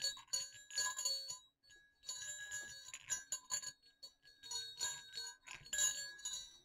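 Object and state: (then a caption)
Small metal jingle bells. Two small hollow silver metal jingle bells on a string are jiggled and shaken over dark fabric. They give bright, high jingling with tinkling dings and light clicks in uneven bursts, separated by brief near-silent pauses, and each ring fades quickly.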